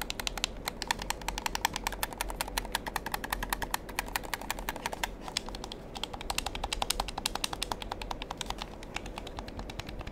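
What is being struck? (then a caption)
Plastic gamepad buttons and triggers. Fingertips rapidly click the buttons and triggers of a black plastic gamepad held in the hands. Sharp, dry, bright clicks with almost no ring come in a fast, uneven stream for the whole clip, over a faint, steady low rumble.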